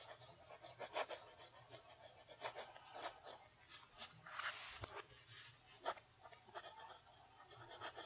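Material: Paper.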